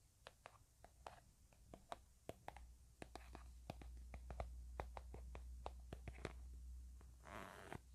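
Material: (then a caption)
Plastic. A blueberry-print plastic hand cream tube, hollow and apparently filled, is tapped with nails and fingertips. The sharp, quiet clicky taps come in a loose, irregular rhythm over a steady low hum, with a brief soft rubbing sound near the end.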